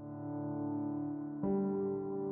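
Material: Nothing is struck.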